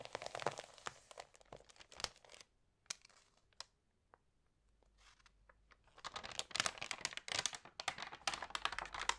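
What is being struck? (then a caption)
Glossy paper magazine. Hands crinkle and flip the glossy pages of an Allerhande paper magazine. Bright, dry crinkling and crisp page snaps come in dense bursts, thin out to a few soft ticks in a quieter middle stretch, then return thick and busy toward the end.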